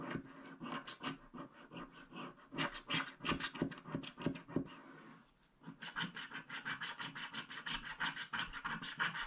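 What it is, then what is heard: Coated paper scratch card being scraped. A wooden stylus scrapes the black coating off a flat black-coated paper scratch card, revealing the teal layer beneath. Quick, dry, rhythmic scratching strokes at roughly three per second carry a bright raspy texture, pause briefly near the middle, then resume at a steady pace.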